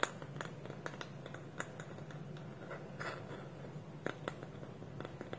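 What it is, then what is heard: Wooden lidded bowl. Fingernails scratch and tap the curved side of a small, hollow, polished wooden bowl with a wooden lid, held tilted. Quiet, dry, short clicks sit over a steady soft scratching rustle, and each tap dies away almost at once.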